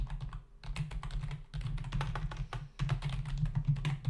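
Fingertips of both hands type on a black plastic membrane computer keyboard with a hollow body and plastic keys, resting on a desk. A rapid stream of soft, short clicking taps carries a low, thumpy body. Brief lulls fall near half a second, one and a half seconds, and just before three seconds.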